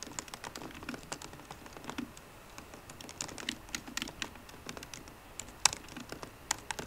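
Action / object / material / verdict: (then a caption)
tap / laptop keyboard with low-profile plastic keys in an aluminum body / plastic / none. Slow fingertip typing with short green nails on the low-profile plastic keys of a 13-inch aluminum MacBook Pro laptop keyboard. Quiet, bright, clicky key taps come in an uneven rhythm with short pauses. Each tap dies out almost instantly, and one tap near the end stands out sharper and louder.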